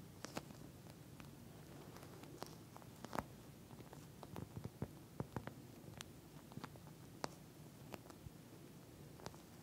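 Long nails rapidly tap and scratch the surface of a pink, flat eye mask with a clear plastic shell filled with small gel beads. Sharp, brief clicks scatter irregularly over a soft, low, crinkling bed, with a few louder taps standing out.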